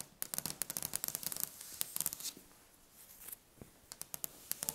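Long painted fingernails of both hands tap and scratch a large, solid, polished wooden table top. Quick bursts of crisp, bright clicking fill the first two seconds, followed by a quieter dry scratching rustle, then a few more sharp taps near the end. The sound has very little low end.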